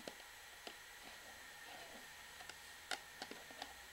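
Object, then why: Plastic shampoo bottle. Long fingernails tap and scratch the flat bottom of an orange plastic shampoo bottle held sideways. Seven short, dry plastic clicks land at uneven intervals over a faint, bright scratching hiss. The taps are quiet and stop almost instantly.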